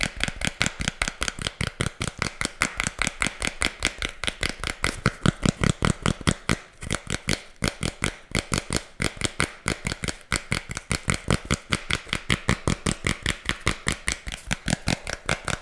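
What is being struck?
Thin cardboard disc.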